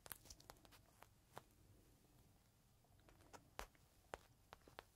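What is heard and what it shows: A small clear plastic bag holding a folded green microfiber cloth is held in the hand while fingertips scratch and crinkle the plastic. Quiet, irregular crackles and sharp bright snaps stand out over a soft, low rustling, with short pauses in the middle.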